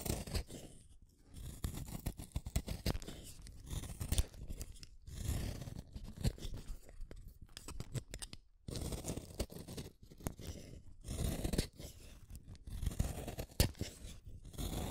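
A small, solid red wooden colored pencil is shaved with a utility knife blade, peeling off long curls. Dense, dry scraping and shaving strokes come in bursts with short pauses, mostly low and muffled with little brightness.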